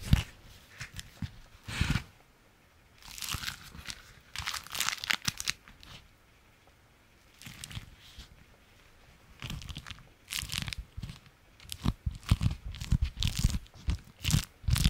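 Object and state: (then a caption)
Beeswax fabric food wrap. An orange-striped beeswax-coated fabric food wrap, folded into a thin stiff stack and held in the hands, is scratched and crinkled with the fingertips and fingernails. Bursts of dry, bright crinkling and crackling alternate with short quiet pauses, and each burst stops sharply with no ring.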